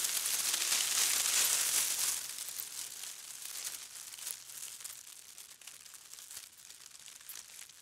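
Hands and fingers rub, bend and crinkle a large bundle of dry, hollow-stemmed grass or straw stalks, like a broom head, held up close to the microphone. A dense, bright, dry crackling and rustling fills the first two seconds, then eases into softer, scattered crinkles and snaps.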